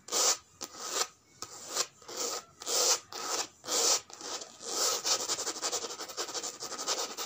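Long red nails scratch and rub the flat surface of a white and grey checkered coated-canvas handbag with a strap, lying on a woven mat. The result is bright, hissy scraping strokes that swell and fade one after another, then turn into a quicker run of short, rapid scratches.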